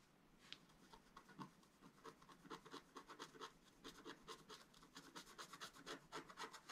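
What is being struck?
Black-coated scratch art paper sheet scratched with a wooden stylus.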